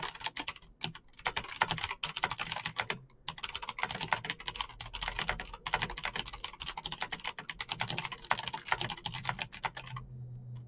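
Fingertips type fast on a Razer BlackWidow backlit plastic mechanical keyboard with clicky green switches. A steady stream of sharp, bright key clicks plays with brief pauses between bursts, then typing stops near the end, leaving a faint low hum.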